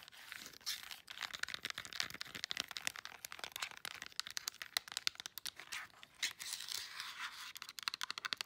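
Long nails rapidly tap the rubber buttons of a flat plastic LED remote control and scratch across its plastic back. The result is a dense stream of sharp, bright clicks mixed with dry, scratchy rasping, almost entirely high-pitched with no low end.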